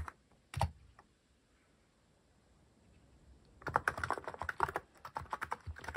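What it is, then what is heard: Mechanical keyboard with plastic keycaps. Fingertips tap the plastic cat keycaps of a white-cased mechanical keyboard. A few isolated clacks come early, then a quiet pause, then a fast run of continuous typing. The clicks are short, sharp plastic taps with little ring.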